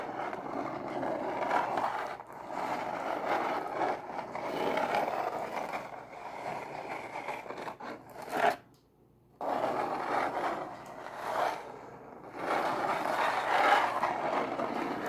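Long acrylic nails scratch and tap the lid of a closed, hollow brown corrugated cardboard Pizza Hut box resting on a table. A steady, papery scraping with occasional louder strokes fills the clip, centered in the mid range. It stops briefly near the middle before resuming.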